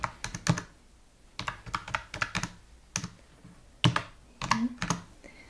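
Fingertips of both hands type on a slim white full-size computer keyboard with plastic keys. Quick bursts of clicky keystrokes, each with a soft low thud and a bright tap, arrive in short clusters separated by brief pauses. Each keystroke dies away almost at once.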